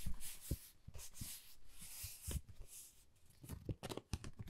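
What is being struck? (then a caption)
Pebble-textured cardboard folder. Long nails scratch along the surface and edge of a flat, pale pink, pebble-textured cardboard Dior folder that is thin and hollow. Bright, airy scratching rasps come in bursts, mixed with quick, dull low taps against the card.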